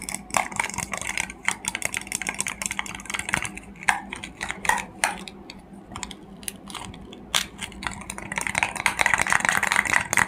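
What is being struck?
Small hollow plastic egg capsule.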